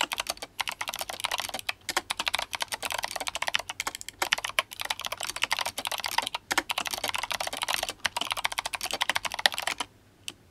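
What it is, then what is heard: Mechanical keyboard with plastic keycaps. Fingertips of both hands type quickly on a compact, RGB-backlit GMMK Compact mechanical keyboard with Kailh Box White clicky switches and plastic SA keycaps in yellow and blue, a solid, mid-sized board resting on a desk. A rapid, steady stream of sharp, bright clicks and clacks rattles on with only brief pauses. The typing stops just before the end, leaving a short, quiet tail.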